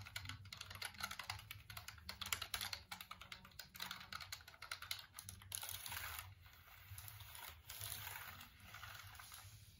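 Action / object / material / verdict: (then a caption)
tap / plastic computer keyboard / plastic / none. Fingertips tap and click the keys of a hollow black plastic computer keyboard held near the camera in dim light. Rapid, bright, crisp clicks come in dense bursts over a faint low hum, then ease into softer, smoother tapping toward the end.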